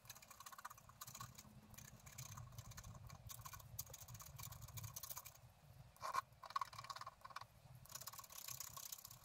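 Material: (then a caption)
Coated paper. A wooden stylus scratches the flower details into a flat black-coated scratch art paper card lying on a table. Quiet, dry, rapid scraping strokes come in bursts with brief pauses, and a couple of louder, sharper scratches stand out near the middle. A low rumble sits underneath throughout.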